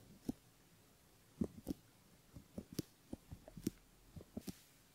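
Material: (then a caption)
Silicone. A bamboo ear pick scratches the inner folds of a silicone right ear model while fingertips hold the ear. The result is a series of soft, short, scratchy taps and rubs, centered in the low-mids with faint bright ticks on top, spread unevenly over a quiet, still background.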